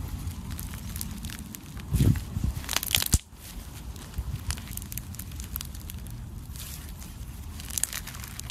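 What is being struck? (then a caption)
Glue slime with embedded styrofoam beads. A handful of soft, solid lavender glue-based slime with embedded white styrofoam beads is stretched, squeezed and pressed flat with bare fingertips. The clip is a steady bed of low crushing with fine, bright crackles and crinkles throughout. It swells into louder, denser crunching bursts about a third of the way in, then settles back to quieter crackling.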